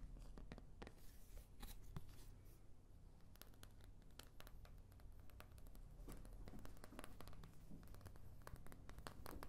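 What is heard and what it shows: Long nails tap and scratch the wells and back of a thin, hollow, oval white plastic paint palette. Quick, dry clicks and scrapes come in a steady patter over a low background hum, each one stopping almost at once with a bright edge. The sound stays quiet throughout.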